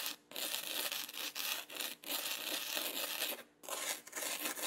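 A small red plastic spoon, held in the fingers, rubs and spreads loose fine black sand across a flat yellow adhesive sand-painting sheet about A4 size. The result is a bright, dry, gritty scraping hiss with almost no low end, in long continuous strokes broken by a few brief pauses.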